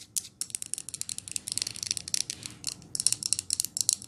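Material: Glass.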